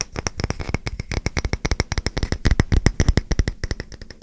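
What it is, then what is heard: Wooden coaster. A solid, round, palm-sized wooden coaster with a grooved surface, held in the hands, is tapped and scratched with fingertips and short nails. The result is a rapid, irregular run of dry, short clicks with dull low thumps and faint bright scratchy texture between taps.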